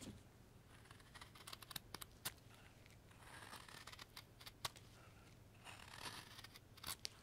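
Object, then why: Light wood block cut with a steel knife. A steel knife cuts shavings from a solid, pale, light wooden carving block held in a gloved hand, working in short carving strokes. Quiet, dry scraping and shaving sounds come with irregular crisp, bright clicks and snaps over a faint low hum.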